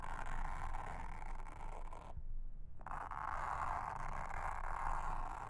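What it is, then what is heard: Silicone honeycomb trivet mat. A pink mascara spoolie brush, held in a hand with long red nails, brushes and scratches across a round, blue, honeycomb-textured silicone trivet mat lying flat on a table. The sound is a steady, dense scratchy rustle centered in the mid-range, with a low rumbling undertone. It pauses briefly just past the two-second mark, then resumes at the same even level.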